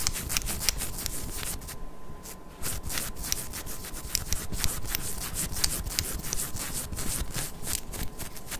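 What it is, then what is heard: Ribbed knit cotton fabric being scratched. Long acrylic nails scratch and rub over a worn pink ribbed knit cotton long-sleeve crop top on the torso, close to the mic. The result is a steady, dense scratchy rasp of quick strokes with sharp, bright clicks, pausing briefly around the two-second mark before carrying on.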